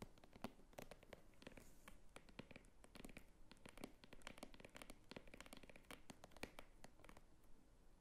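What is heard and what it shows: A small red purse of croc-embossed faux leather is tapped and scratched with long fingernails along its top edge and flap. The quiet clip is a dense run of sharp, dry clicks and short scratchy strokes. They have a low thud underneath and brief bright edges that die away almost instantly.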